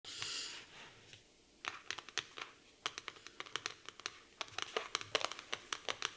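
Long pink acrylic nails tap and scratch the glossy, black floral laminated cardboard cover of a large hardcover notebook lying flat on a wooden table. A brief bright scratching swipe opens the clip, followed after a short pause by a rapid, uneven series of sharp, crisp clicking taps. The taps are bright and dry, with almost no ring.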